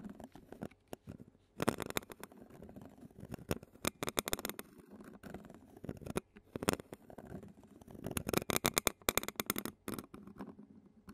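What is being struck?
Metal mesh microphone grille scraped with a plastic spoon.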